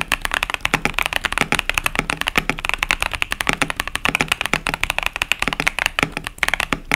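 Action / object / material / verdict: tap / plastic mechanical keyboard with tactile switches / plastic / none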